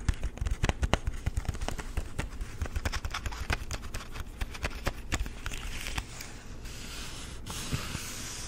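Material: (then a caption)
Plastic. Fingertips and nails tap a small, cardboard-backed clear plastic blister pack holding two nightlight bulbs, producing around thirty quick, dry taps that each pair a low thump with a bright plastic click. After about six seconds the taps fade into a softer, continuous crinkly rustle.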